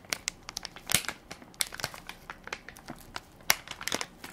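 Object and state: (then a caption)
Plastic baby wipes pack. A full, soft plastic-film baby wipes pack with a plastic lid is held in one hand while fingertips and nails crinkle and scratch its film top. The result is a quick, irregular run of sharp, bright crackles and scratches with almost no low end, each snapping off instantly, with a few louder pops standing out.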